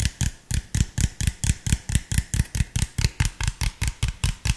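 Fingertips tap the hollow body and cap of an empty clear PET drink bottle with an orange label, making 21 quick, distinct hollow taps at a steady, slightly uneven pace. Each tap has a deep, boomy low thud with a bright click on top and dies away almost at once.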